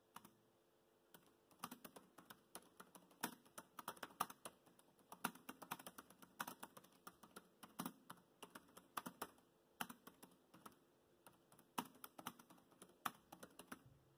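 Bare fingertips type fast on the black plastic chiclet keys of a dark grey laptop keyboard. Quiet, dry, short clicks come in quick irregular bursts with little low end and no ring, over a faint steady hum.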